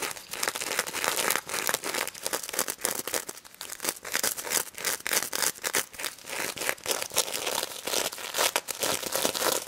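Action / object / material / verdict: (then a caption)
scrape / plush toy covered in plastic sequins / plastic sequins / none. A stuffed toy pig covered in plastic sequins is scratched with long nails around its snout and across the sequins. The sound is a steady, bright, crinkly rasp of many quick clicks, with no low end.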